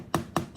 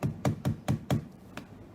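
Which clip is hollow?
The first.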